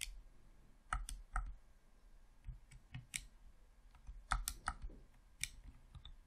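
A hollow red plastic Xbox controller is worked by fingertips, clicking its thumbsticks and buttons in a quiet, irregular series of short, sharp plastic clicks with bright ticks and a faint low thump under each. About eleven distinct clicks stand out, each dying away almost at once.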